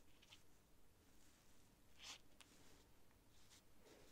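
A quill nib scratches across a thin sheet of cream writing paper while writing. Quiet, bright scratchy strokes come in short bursts over a low, steady background hum. The sharpest stroke falls near the middle of the clip.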